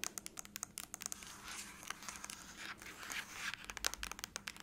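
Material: Aluminum.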